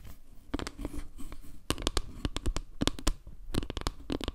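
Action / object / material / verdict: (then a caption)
tap / round wooden log-slice panel / wood / none. Long nails rapidly tap and scratch across a solid, round wooden log-slice panel with dark center tiles. About 16 sharp, dry clicks stand out over a soft, continuous scratching, each tap ending almost instantly with a bright edge and a low thud.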